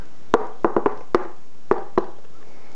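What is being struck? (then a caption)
Fibreglass-coated home-made shield. Knuckles knock on the fibreglassed back of a home-made Captain America LARP shield, giving seven short, hollow knocks with a mid-range body around 430 Hz and quick decays. The coating makes the shield now sound like plastic.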